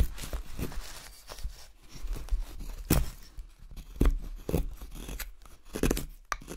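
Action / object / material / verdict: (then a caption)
scrape / wooden spoon blank, light carving wood, cut with a steel knife / wood / none. A steel carving knife shapes a long, solid blank of pale, light carving wood with a spoon outline drawn on it. It makes a rapid, uneven series of dry slicing and scraping cuts, each a short, low-heavy scratch with a few louder strokes standing out.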